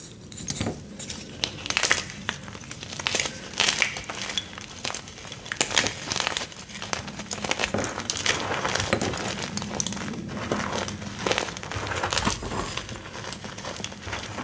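A fresh, dry block of white gym chalk (magnesium carbonate) is crushed into shards and powder in the fists and fingers. It makes a steady run of bright, gritty crunching and crackling with dense, short snaps that die away almost at once, rising in a few louder bursts over a faint low rumble.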